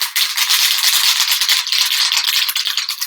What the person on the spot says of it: you can hear that little ball down inside they're mixing up all the different contents inside there